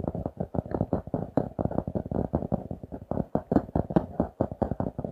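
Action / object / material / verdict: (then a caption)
tap / laminated cardboard notebook cover / cardboard / none. A notebook with a glossy laminated cardboard cover, held in both hands, is scratched and tapped with fingertips and nails. It makes a rapid, steady run of soft, dull taps and brushing scratches, mostly low-mid in tone with almost no high end. Each tap dies away almost at once.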